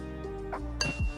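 A steel CV axle shaft from a VW Passat B6 is tapped twice, each time with a short clinking ring around 2.7 kHz over a low background hum. The tap is a comparison against a hollow axle, and the clink shows this shaft is solid.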